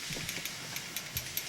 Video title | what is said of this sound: DE Pump Rebuild 4 Cylinder Stanadyne DE2435-5805 for @C_CEQUIPMENTJohn Deere 550H Bulldozer Crawler | if you shake it you can hear that Armature rattling in there so that's how you know that it's not bound up or anything